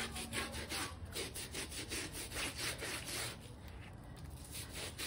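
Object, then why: Damp shaggy fabric bath rug. A small plastic bristle brush scrubs along the top edge of a small, damp, shaggy textile bath rug with fringe rows, lying on a foam mat; the light pink rug has turned gray. Quick, steady back-and-forth strokes make a continuous bright, rasping scrub with a soft low rumble underneath.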